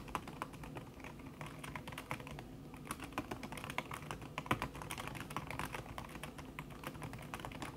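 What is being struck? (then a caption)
Laptop keyboard with silicone key cover. Fingertips with long red nails type fast on a backlit laptop keyboard in a silver aluminum body, its keys covered by a thin red silicone skin. The result is a steady, rapid stream of soft, muted clicks and taps, each dying away almost instantly, with a few sharper clacks standing out.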